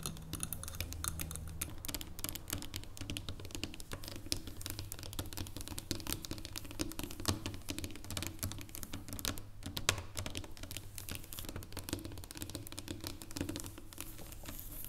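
Long blue fingernails tap rapidly on the top of a segmented solid dark chocolate bar resting on a wooden table. The result is a dense, continuous patter of short, dry clicks with a bright edge, layered over a steady low hum.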